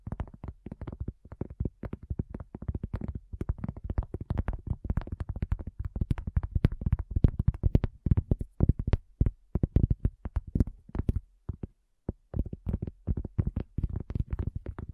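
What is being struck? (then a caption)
Round flat cork coaster. A solid, round, flat cork coaster is tapped quickly by the long fingernails of both hands. The result is a dense, continuous patter of dull, muffled taps that are mostly low in tone and stop almost instantly, with a brief pause near the end.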